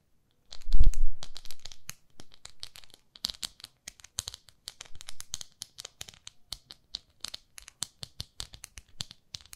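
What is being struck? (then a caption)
Small plastic facial cleansing pad with a textured face. A small pink plastic facial cleansing brush with a textured face is scratched and tapped by long nails. The clip opens with a louder rustling, crinkling burst, then settles into many quick, bright clicks and scratches at an uneven pace.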